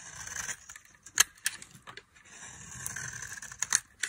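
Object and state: Dry soap bar being carved.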